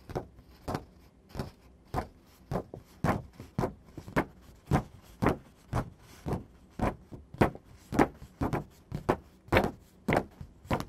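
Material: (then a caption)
Paper. Fingertips and nails scratch and tap across the surface of a thin white printer paper sheet. About 23 short, dry, broadband bursts repeat at a loosely steady pace, each decaying almost instantly, with soft rustling between them.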